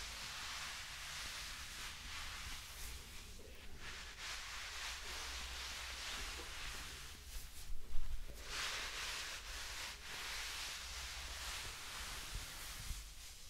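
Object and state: Nothing is struck.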